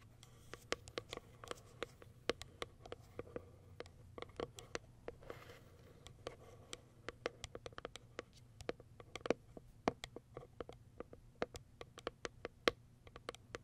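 Long white acrylic nails tap and scratch the top of a small white Kiara Sky printed cardboard product box. Dozens of quiet, dry, papery clicks come in an irregular patter, each dying away almost instantly, with a soft scratchy texture between them. A faint low hum sits underneath throughout.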